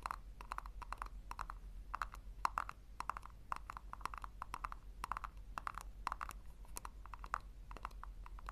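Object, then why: Small plastic tub. Long nails tap rapidly on the base of a small, hollow pink plastic tub. The crisp, clicky taps carry a hollow ring around 1 kHz and die away almost instantly, coming in quick clusters over a steady low hum.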